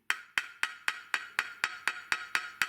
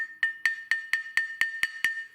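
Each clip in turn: First: solid-sounding whetstone. Second: hollow-sounding soft whetstone.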